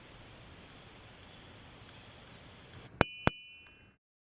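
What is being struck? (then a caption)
Igneous boulder. A boulder of igneous rock at the Ringing Rocks of Bucks County is struck twice, giving two sharp, bell-like metallic rings with clear high tones over a steady low rumble of background noise. The second ring trails off briefly before the sound cuts out.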